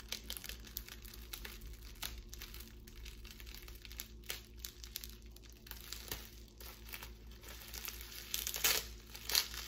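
A strip of clear plastic bubble wrap is held in both hands, squeezed, crinkled and popped with long pink nails. Bright, dry crinkling runs throughout, broken by irregular sharp pops and crackles over a faint steady low hum. The loudest, harshest pops come near the end.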